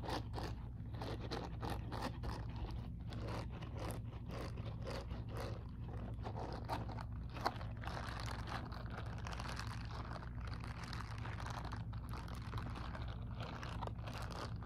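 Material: Silicone.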